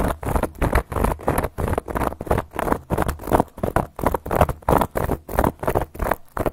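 Long gold metal claw nail caps scratch and tap across a round, flat, solid cork board. The result is a rapid, slightly uneven run of short, separate, dry strokes, each with a soft, dull body and almost no ring.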